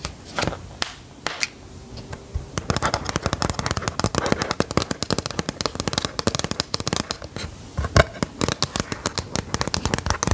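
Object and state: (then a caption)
Plastic LCD writing tablet. Long gold metal filigree nail claws tap and scratch on the screen and frame of a handheld white plastic LCD drawing tablet with a dark screen. A few separate, sharp clicks give way after about two and a half seconds to a dense, rapid stream of dry ticking and crackling scratches. Every tap is short and dies out at once.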